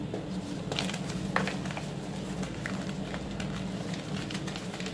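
Bare fingertips squeeze, rub and crumble small solid white blocks of reformed gym chalk (magnesium carbonate), some with yellow specks, in a teal plastic bowl full of chalk powder. Soft, gritty crackles and bright crunchy snaps come throughout over a steady low hum, with sharper crunches near the middle and the end. The bars break down into powder.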